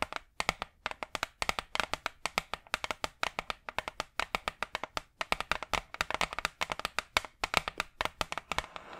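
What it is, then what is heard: Hardboard clipboard tapped with nails. Long acrylic nails rapidly tap a large, flat, brown hardboard clipboard, a solid thin board held in front of the mic. The result is dozens of quick, dry, bright clicks that die away almost instantly, with a tonal knock around 1.3 kHz. The taps come in uneven bursts and clusters with almost no low end.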